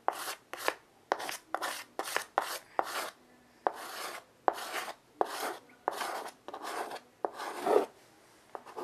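A child draws fast, repeated curved strokes with white chalk on a small wood-framed chalkboard resting on carpet. Each stroke begins with a sharp chalk tap, then a bright, breathy scratch, in a quick irregular rhythm with brief silences between strokes.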